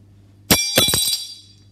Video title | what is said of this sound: Stoffeigenschaften mit den Sinnesorganen bestimmen | ein sehr hoher touren ein sehr heller ton es ist zusätzlich noch sehr leicht das ist aluminium